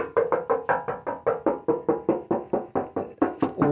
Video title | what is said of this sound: XC Ford Falcon 351 Cleveland Project: Crusty, not so rusty V8 GS wagon BUT with structural cracking. | That might be some bubbling there, but all sounds like sounds like metal.